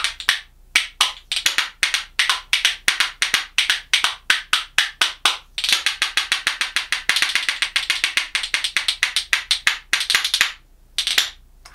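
A pair of dense, dark lignum vitae percussion spoons held in one hand is clacked rhythmically against the palm and knee. It makes bright, dry, woody clicks with almost no ring, settling into a steady beat that breaks into faster rolling bursts toward the end.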